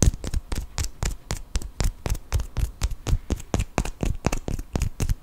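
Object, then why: Cork wine stopper. A small solid cork wine stopper, held upright, is tapped and scratched with a fingertip and nail in about 25 quick, irregular strokes. Each stroke gives a soft, dull, low thump with a faint bright scratchy edge. The sound dies away almost at once.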